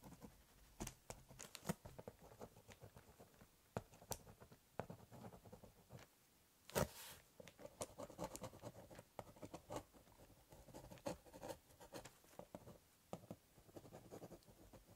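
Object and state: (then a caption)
Pen scratching on a cardboard box. A biro tip draws root lines across the top of a hollow corrugated cardboard box, making a continuous, dry pen scratch. Quick, sharp clicks and taps are scattered throughout, with a louder, brighter rasp near the middle, all at a low, close level.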